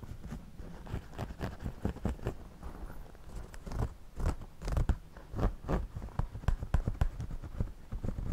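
A pencil draws and scratches across the woven brim and crown of a white wide-brim straw floppy hat worn on the head. Quick, dry, crackly scratching strokes come in irregular bursts, each with a bright rasp over a dull low thump, and die away almost instantly.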